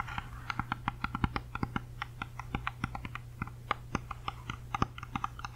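Long fingernails tap and scratch quickly on the skin of a whole, solid, uneaten red-yellow apple held in both hands beside the microphone. The result is a rapid series of dozens of short, dry clicks with a bright, crisp edge. A steady low hum runs underneath throughout.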